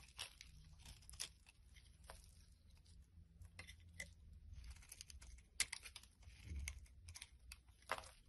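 A solid, bright green soap bar held in the hand is scraped with a blade, peeling off long curly shavings. Dry, crinkly scraping strokes with sharp, bright crackles ride over a quiet low rumble, the louder cuts standing out briefly near the middle and end.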